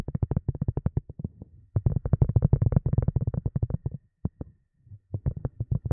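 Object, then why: Silicone cup lid. A silicone cup lid is tapped in a quick, uneven run of soft, dull, low-pitched taps, with short pauses between bursts. Each tap dies away almost at once, with no ring.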